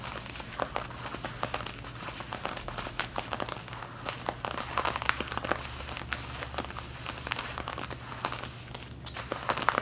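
Long red-painted nails scratch the back yoke of light blue denim jeans being worn, giving a steady stream of dry, crinkly scrapes with many sharp, bright clicks. A faint low hum runs underneath throughout.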